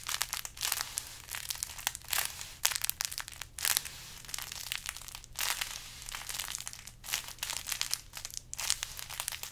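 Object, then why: Burlap-wrapped decoration. A large carrot-shaped decoration wrapped in burlap is squeezed and scratched with fingers. Dense, bright crinkling and scratchy rustling come in uneven bursts over a faint low hum.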